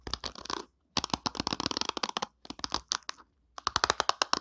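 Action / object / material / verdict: scrape / plastic hairbrush bristles / plastic / none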